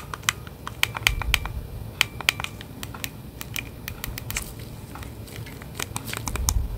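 Gloved fingertips click the buttons and tap the casing of a hollow plastic Nintendo Switch Joy-Con controller in its grip, held at the base of a microphone. Quick, dry, bright clicks and light taps come in irregular bursts over a soft low rumble, each dying away almost instantly.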